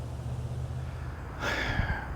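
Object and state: Nothing is struck.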